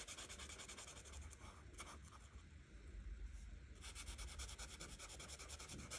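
An art marker tip rubs back and forth over a flat printed paper coloring book page while coloring in the green background. The soft, steady scratchy rubbing comes in quick repeated strokes with bright, airy texture, and a low hum sits underneath throughout.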